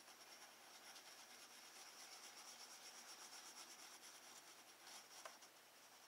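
A woodless graphite pencil, held in the fingertips, shades a sphere on a thin, solid sheet of drawing paper in a spiral-bound sketchbook lying flat on a wooden desk. Repeated rubbing and scratching strokes make a steady, bright, hissing scrape that stays at an even, quiet level throughout. A brief, sharper tick stands out near the end.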